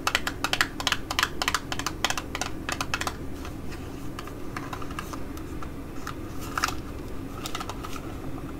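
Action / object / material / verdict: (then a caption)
tap / small printed cardboard box tapped with fingernails / cardboard / none. Long acrylic nails tap and scratch the faces of an ID.AZ Face Fit Lip Fit-ler box, a small, hollow, rectangular printed cardboard box with the product inside, held in the fingers. Quick, bright clicking taps come in dense bursts for the first three seconds, then thin out to scattered clicks and soft scratching over a steady low background.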